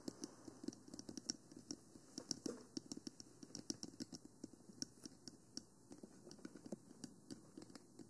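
Long nails and fingertips tap on the body and sides of a black, hollow plastic 3Dio Free Space binaural microphone with silicone ears. About 32 quick, dry taps sound in an irregular patter, each a bright click over a soft, hollow low-mid knock that dies away almost at once. The taps are quiet and close, with no other sound.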